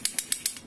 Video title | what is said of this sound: Upgrading to taper roller wheel bearings on front axle of the 1275 MG Midget | you can hear it tapping on the end